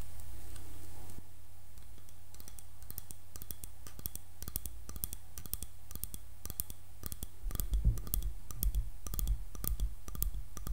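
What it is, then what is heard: Wooden hairbrush back. Long nails tap the wooden back of a light solid wood paddle hairbrush with black bristles, producing quick, irregular, bright clicks with very short decay. A steady low hum sits underneath, and soft low thumps join the tapping in the second half.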